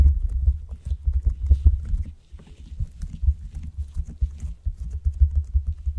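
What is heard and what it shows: Long acrylic nails press, poke and squish a large, soft, solid blob of blue glitter slime lying on a wooden cutting board, using quick tapping and pressing motions. A fast run of dull, low, muffled thuds and squishes is heard, each dying away almost instantly, with a faint bright crackle above.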